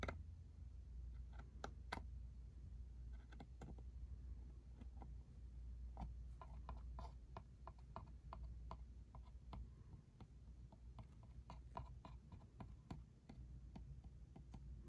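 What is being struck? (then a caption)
Small cardboard box. A small, hollow, cube-shaped cardboard ink cartridge box is tapped and scratched with a fingertip and nail on its barcode side. Many quiet, dry, sharp clicks with short scratchy sweeps sit over a steady low hum. Each tap dies away almost instantly with no ring.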